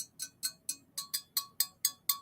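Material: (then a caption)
Metal. A glazed decorative piece that looks like wood is tapped nine times in a steady rhythm, giving short, bright clinks that are mostly high-frequency and die away almost at once. The sound shows the piece is metal, not wood or ceramic.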